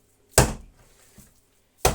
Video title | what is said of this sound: #ковбаса копчена з бочки😋😋 | такий глухий звук видає